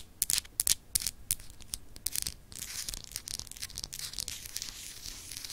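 Long acrylic nails scratch and rub across a small, solid, clear glass globe paperweight with an etched texture. Sharp, bright, dry scratches come in quick, irregular bursts at first, then settle into a steady, hissing rub of dense, high-pitched grit with little low end.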